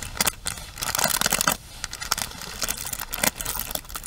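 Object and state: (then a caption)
Plastic paddle hairbrush. A pink plastic paddle hairbrush is held upright while long nails rapidly tap and strum across its bristle pins. The result is a dense run of bright, crisp clicks and raspy, scratchy strums with very little low end, rising and falling in quick bursts.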